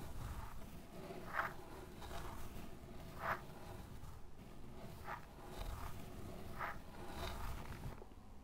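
A small brush tip is dragged and poked through a loose mound of pale fine sand, producing soft, gritty scratching strokes over a steady low rumble. Brief mid-pitched crunchy bursts rise out of the hiss as the brush cuts through the pile, and the sound thins out near the end.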